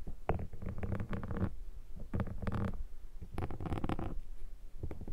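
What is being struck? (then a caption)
Foam microphone windshield scraped with a metal pick. A metal pick is scratched across a black foam microphone windshield. It makes close, dull scratching and rustling in bursts of rough friction, heavy in low rumble with little brightness, and each stroke stops dry with almost no ring.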